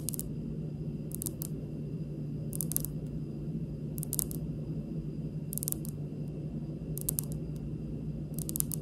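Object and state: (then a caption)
Granite countertop tapped with fingernails. Long pink nail tips on both hands slowly tap a large, solid, polished, speckled granite stone countertop. The taps come in small clusters of bright, sharp clicks that die away almost instantly, over a steady low hum.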